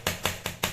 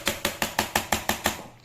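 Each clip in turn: First: Four bright, clicky coin taps with a brief metallic ring: the top box shell is aluminium alloy, not plastic. Second: Eight quick, even coin taps give short, dry clicks with no ring, the flat sound of plastic rather than metal.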